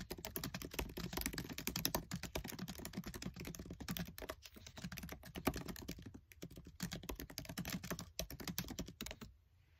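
Fingertips type rapidly on a MacBook Air keyboard with black plastic keycaps in a silver aluminium body, heard close up. A dense stream of quick, light clicks and taps runs almost continuously, with a few brief pauses, then fades to quiet at the end.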